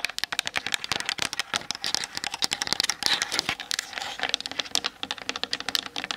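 Long nails tap fast on the sides and top of a Canon DSLR camera with a plastic body. The result is a dense stream of sharp, bright clicks with very little low end, each dying away quickly.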